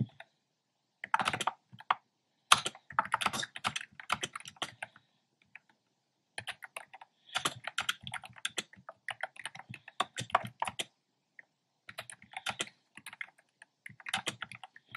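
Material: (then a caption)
Plastic. Fingertips type on a black plastic keyboard with hollow round retro pastel keycaps. Quick, bright, clicky taps come in bursts separated by short pauses. Each tap dies away almost at once.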